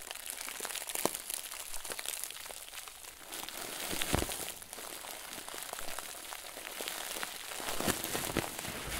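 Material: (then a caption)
Plastic. A round, stuffed white plastic bag is gripped with both hands and squeezed, giving a steady, soft, bright crinkling. Sharper crackles and snaps stand out now and then over the rustle.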